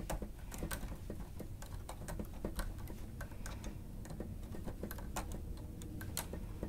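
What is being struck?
Plastic stenotype keyboard.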